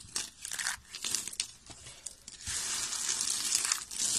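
A pile of thin, solid, white dry soap flakes is crumbled and rubbed between the fingers. Bright, crisp crackling and crinkling comes in short, separate bursts at first, then becomes a steady, dense crunching rustle through the second half.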